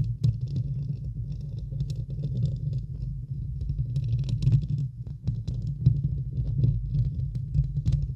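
Long acrylic nails scratch the hollow, domed steel-mesh grille of a large silver USB microphone, with the hands still resting on the grille at the end. The result is a dense, continuous low rumbling scratch, almost entirely below 200 Hz, made of many quick, dry scrapes with faint bright ticks above.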